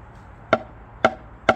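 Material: MDF.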